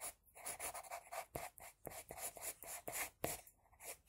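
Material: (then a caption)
Paper. An HB pencil scratches across a flat sheet of drawing paper, drawing strands of hair in a rapid series of short, quick strokes. Each stroke gives a dry, bright scratching hiss with a faint midrange tone and no low end, and the strokes break off sharply with little ring between them.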